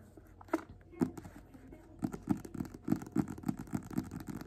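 A small, worn paperback copy of *Invisible Man* is held upright in both hands, solid and closed, while fingertips and nails tap and scratch its paper cover. A few soft, dry taps with a low-mid thump come first. Quicker, denser tapping with light scratchy rustling follows from about the two-second mark.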